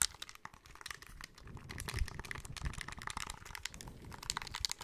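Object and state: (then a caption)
Plastic handheld game console. A small, hollow, grey plastic handheld game console has its back and sides tapped rapidly with fingertips and nails. The result is a quiet, dense patter of dry, bright clicks and soft low thumps that die away instantly, with a crinkly, keyboard-like texture.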